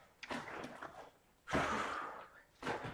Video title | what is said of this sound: Find YOUR Motivation! | But you know, you can hear the water sloshing around in there.